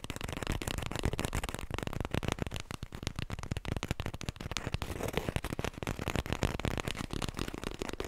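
A small, full roll of white toilet tissue on a cardboard core is held close to the mic and tapped quickly with the fingertips and long nails. The result is a dense, continuous run of soft, dull, low thumps mixed with crisp clicks and crackles, with no pauses for the whole clip.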